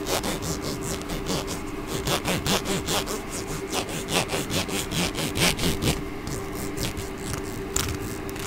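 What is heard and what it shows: Long fingernails scratch and strum the teeth of a small, solid, hot-pink plastic comb held close to the microphone. Quick, uneven rasping strokes repeat at about two per second, each a bright, dry, zipping burst over a faint steady low hum.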